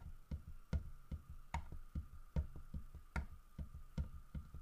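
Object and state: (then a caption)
Carved wooden bear figurine tapped. Fingertips and nails tap the carved fur of a large, solid carved wooden bear figurine, producing eleven short, dull, low knocks at an unhurried, slightly uneven pace. Each tap dies away almost instantly, with a faint brighter click on top, while a quiet steady hum sits underneath.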